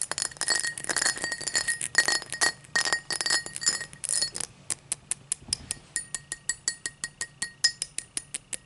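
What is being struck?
Cut crystal highball glass.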